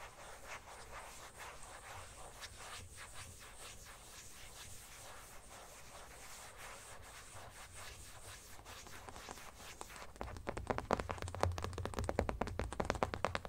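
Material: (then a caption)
Plastic. Fingertips rub and scratch the back of an empty black matte plastic phone case lying face down on a blanket. Soft, steady rubbing and scratching runs through most of the clip, then turns louder, faster and more distinctly scratchy in the last few seconds.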